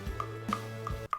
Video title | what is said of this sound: What is the BEST apple variety? | has a nice hollow sound can you hear that